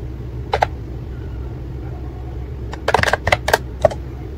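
Fingertips type on the round keycaps of a white and pink plastic ACTTO wireless keyboard, giving short, sharp clicky taps. A pair of taps comes early, then after a pause a quicker cluster of keystrokes and one final tap, all over a steady low background hum.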